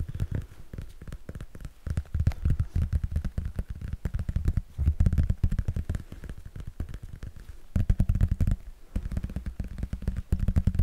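Fingertips and nails rapidly tap and scratch the glossy printed cardboard cover of a thin laminated "Frosty the Snowman" children's hardcover picture book held close to the mic. A dense stream of dull, low, thumping taps mixes with crackly scratching in uneven bursts with brief pauses.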